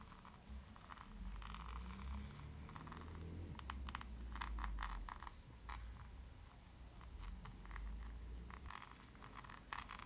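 Long pointed nails tap rapidly and irregularly on the glossy laminated cardboard cover of a closed hardcover book, *How to Be a Vampire*, held up in one hand with rings on the fingers. The result is a stream of light, crisp clicks and scratchy taps over a steady low rumble.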